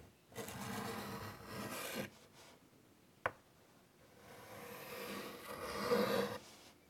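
A chalk stick held in the fingertips draws curved wing lines on a large, flat, wood-framed chalkboard, scratching across the board surface. A long gritty scrape runs for nearly two seconds, followed by a single sharp tap of the chalk. A final stroke builds to a louder, brighter scratch before trailing off.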